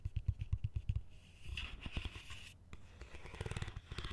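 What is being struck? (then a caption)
Plastic colander. Fingertips and nails tap and scratch the top rim and slotted sides of a large, hollow, empty green plastic colander. A quick run of dull, low, thumping taps gives way to a bright, rasping scrape, then mixed scratching and soft taps return. The taps are short and die away almost at once.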